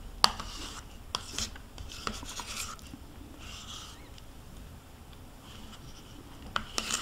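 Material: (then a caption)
Plastic. A metal spoon scrapes along the inner wall of a small white plastic yogurt cup, held in hand and partly empty with yogurt smeared inside. Soft, bright rasping and rubbing strokes come and go, with a few sharp clicks where the spoon catches the plastic near the start and end.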